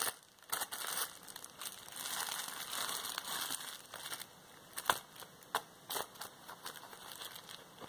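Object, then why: Plastic bubble wrap roll. A large roll of clear plastic bubble wrap is handled and crinkled, with its bubbles pressed by fingertips and nails. The result is a bright, dry crinkling hiss with almost no low end, broken by sharp, short pops and clicks that stand out from quieter rustling.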